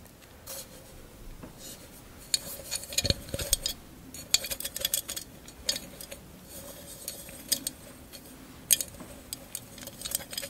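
A tall, hollow, empty vase-shaped candle holder covered in small mirrored glass mosaic tiles is held upright and tapped with long acrylic nails. Quick, bright glassy clicks and ticks come in scattered bursts over a soft background, each dying away almost at once.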